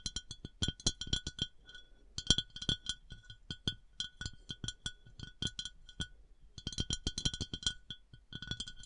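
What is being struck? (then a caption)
Glass decanter. Tapping and scratching on a glass bath oil decanter with textured and smooth glass surfaces. Quick, bright clinking taps come in rapid runs with brief pauses, each ringing only briefly with a high glassy tone. No talking.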